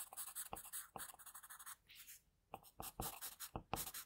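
An HB wooden pencil held in the fingers shades near the nose and mouth of a drawing on a thin, flat sheet of white drawing paper, its graphite scratching across the surface. Quick, dry, bright scratchy strokes come in rapid bursts, ease into a softer brushing pass and a short near-silence around two seconds, then resume with sharper strokes.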